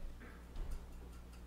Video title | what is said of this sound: Thermaltake Floe riing 360 Premium Edition AIO connection & installation tutorial | if you knock on it, you hear the little plasticky sound